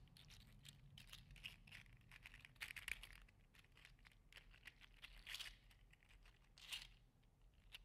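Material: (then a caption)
Plastic. A green-teal segmented 3D printed PLA articulated slug toy is curled and bent in one hand, its plastic segments clicking against each other. Soft, dense, bright clicks and crinkly crackles come in irregular bursts, with a few louder clusters. A faint low hum runs steadily underneath.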